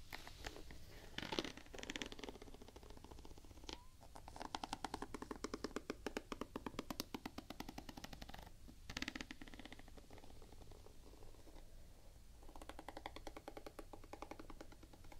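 Long painted nails tap rapidly on the solid gum-brown rubber waffle-pattern outsole of a Vans Quasi Signature sneaker, held up close. The result is quick runs of soft, dry, clicky taps, broken by a few brief scratchy bursts and short pauses.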